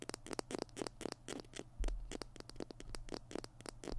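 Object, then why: Plastic glue stick. Fingernails scratch the label and plastic body of a small white plastic PiT glue stick held in both hands. A dense series of quick, dry scratches and taps rises and falls in a steady patter, with a low rumble underneath.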